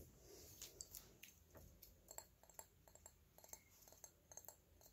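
Fingertips and nails tap the body of a small, hollow, dark purple glass perfume bottle with a red cap. A steady series of quiet, bright, clicking taps sounds, each dying away almost instantly with a faint glassy ring over low background noise.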